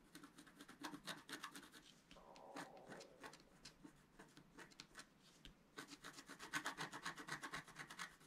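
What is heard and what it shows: A pointed wooden stylus scratches quick strokes near the top of a thin, flat, solid sheet of black wax-coated scratch-art paper held flat by one hand. The result is a rapid run of dry, raspy scratches at about four per second, with a denser, louder burst of strokes toward the end.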